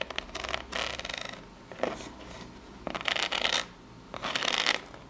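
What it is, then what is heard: Corrugated cardboard box scratched and tapped. Long pink nails scratch and tap across the ridged front face of a small corrugated cardboard box. Bursts of bright, dry rasping alternate with short, crisp taps and quiet pauses. The scratching is mostly high and papery, with almost no low end.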